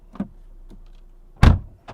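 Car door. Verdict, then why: Solid. A 2022 Audi RS e-tron GT car door is closed from the inside. A small click comes first, then a deep, low thunk with a brief tap at the end. The shut sounds solid.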